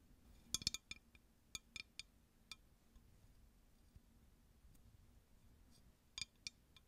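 A clear, empty, hollow drinking glass tumbler is tapped with long nails close to the mic. The result is a series of short, bright clinks that die away almost at once, with quiet gaps between the taps and a low, steady background hum.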